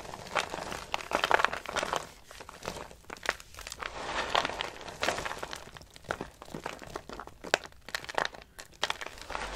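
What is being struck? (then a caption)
Soap shavings. Pale green dry soap shavings are crumbled and crushed between fingertips and long nails over a pile in a box. The result is a steady stream of dry, crisp crinkling and crunching with many short, sharp bursts, bright at the top, with little low end.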